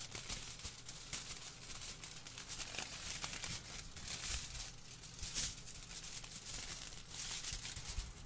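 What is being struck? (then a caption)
Thin aluminium kitchen foil sheet. A large crumpled sheet of thin aluminium kitchen foil is held by hand close to the microphone and crinkled and shaken with the fingers. It makes a steady, bright, crackly rustle with brief louder crunches, over a faint low hum, for the whole clip.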